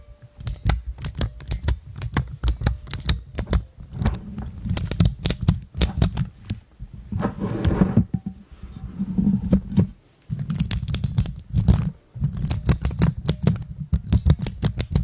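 Fingertips press and click keys on a pastel plastic keycap dome cluster mounted on clear mechanical switches, while long nails tap the keycaps. The result is a rapid, uneven stream of short, dry clicks and taps with a deep, thuddy low body and thin bright ticks, broken by brief pauses.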